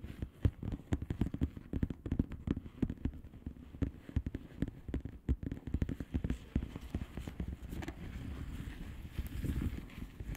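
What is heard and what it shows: Long painted nails of both hands tap and scratch across the bubbles of a blue plastic bubble wrap mailer lying flat. A rapid stream of short, dull, muffled taps with almost no ring fills the clip, with the energy sitting low and nothing bright. Near the end it shifts into a steadier, more continuous scratching rustle.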